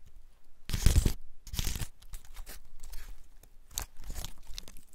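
Fingers scratch and rub the open scales of a large, dry, woody pine cone held in both hands. The clip has dry, crackling, crunchy scraping bursts with bright rustling edges and low handling thumps. The loudest burst comes near the start, followed by softer, irregular scratches.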